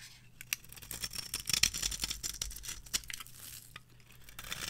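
A metal blade cuts a grid pattern into the surface of a solid, palm-sized, orange rectangular bar of varnished dry soap, then scrapes across it. The result is a run of crisp, dry scratching and crunching strokes with a papery, tearing texture, sitting mostly in the high, bright range. Sharp little ticks stand out amid the quieter rasping.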